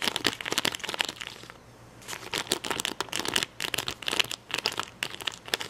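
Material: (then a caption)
Plastic. Fingernails pick and scratch at red and yellow acrylic rhinestones on a clear plastic backing sheet, close up. Rapid bright clicks and crinkly scratches dominate, with a quieter scratchy lull near the middle before the picking resumes.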